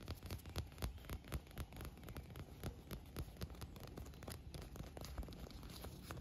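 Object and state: Inflatable vinyl pool float.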